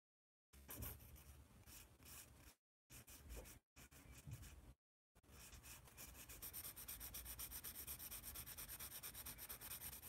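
A yellow wooden graphite pencil is rubbed and scratched across a large white paper sketch pad held upright in one hand while drawing. Bursts of dry, bright scratching are broken by short silences, then settle into a steady run of quick, rhythmic strokes that continue to the end.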